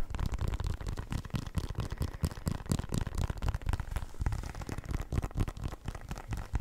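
A full-size black and white synthetic leather soccer ball, hollow and inflated, is tapped with fingertips and nails and turned in the hands. The result is a fast, irregular run of dull, hollow low thuds with very little ring and faint scratchy rustling between the taps.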